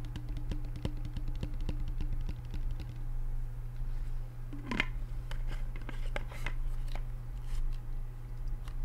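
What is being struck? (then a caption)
Plastic shaker bottle. A hand-sized plastic shaker or sports bottle with printed graphics and a closed yellow flip cap on a strap is held in the hands and tapped with the fingertips throughout. The taps are quick, dry clicks over a steady low hum.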